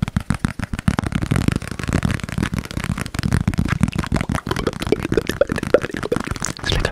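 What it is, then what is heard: Plastic food container tapped. A small, hollow, rectangular yellow plastic food container with a lid, apparently empty, is held in both hands close to the mic and rapidly tapped and scratched with fingertips and nails. The result is a dense stream of quick, dull, hollow knocks mixed with scratchy rustling, mostly low in pitch and dying away almost instantly after each touch.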